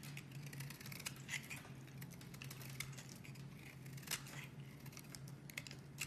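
A metal utility blade scrapes across a solid, palm-sized, cream-colored bar of soap held in hand, shaving off curls. The clip is a steady run of crisp, dry scraping and bright crackling ticks, with a few sharper snaps, over a constant low hum.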